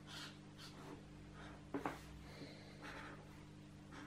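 A white felt-tip marker with a green cap is rubbed and scratched in short strokes across a thin paper page of an open adult coloring book lying flat, printed with a geometric doodle pattern. Soft, airy scratching strokes run under a steady low hum, with two sharper scrapes near the middle.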